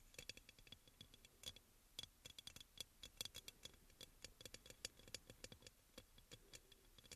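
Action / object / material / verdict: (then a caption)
tap / glazed ceramic oil burner / glazed ceramic / none. Fingernails tap quickly on the glazed sides of a hollow, white crackle-glazed ceramic aroma oil burner. Dozens of quiet, sharp, bright clicks come in an uneven run, each with a faint ring near 3.4 kHz that dies away almost at once.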